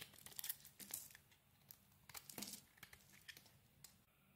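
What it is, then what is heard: Soap bar being shaved with a blade. A utility knife blade scrapes and shaves the edges of a solid green soap bar held in the hand. A quick series of bright, crisp, crunchy scraping strokes, some louder and some softer, with short pauses between them and almost no low end.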